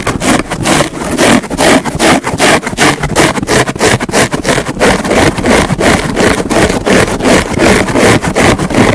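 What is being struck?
Porous foam car sponge.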